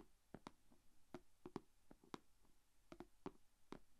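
Long dark-painted fingernails tap and scratch the closed lid of a small, shallow, rectangular clear plastic food container holding glitter slime and resting on red fabric. Quiet, short, dry clicking taps with a faint low body sit over a soft hiss, with brief scratchy sweeps between them.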